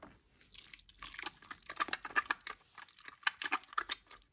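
A wet, foamy green solid rectangular bar of household soap is rubbed with fingers and palms over a water basin. It makes quiet, squelchy, crackling sounds with many short, bright clicks and pops of foam. Nothing low sounds underneath.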